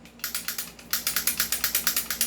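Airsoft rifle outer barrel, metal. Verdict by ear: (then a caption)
Loose. The loose metal outer barrel of a non-upgraded airsoft rifle is shaken up and down by hand, with a finger resting on it. It gives a fast series of about 18 short, bright, clicky rattles with almost no low end, pausing briefly after the first few. The barrel is audibly loose, unlike an upgraded rifle with a fixed outer barrel.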